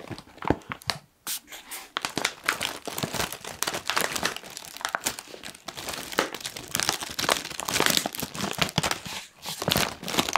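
A medium-size, puffed and apparently full Kettle crisps bag of foil-lined plastic is squeezed and crinkled with the fingers of both hands. The result is a dense, bright crackling and crinkling that runs almost continuously, with brief quiet gaps near the start and near the end.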